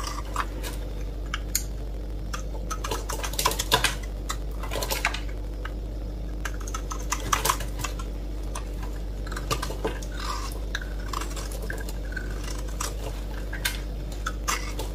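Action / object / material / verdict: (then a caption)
scrape / bar of soap scraped with a metal blade / soap / none. A metal blade scrapes a solid, dry, rectangular pink bar of soap held in one hand, shaving off white soap curls. Irregular crisp, crunchy scraping clicks with bright edges sound throughout over a steady low hum.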